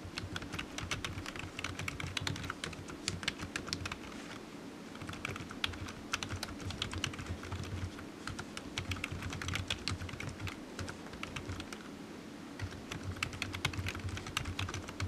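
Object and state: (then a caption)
Plastic computer keyboard. Fingertips type steadily on a low-profile black plastic computer keyboard with hollow keys resting on a desk mat, producing rapid, bright, clicky taps with very short decay. The typing slows briefly at a couple of points, and a steady low hum sits underneath throughout.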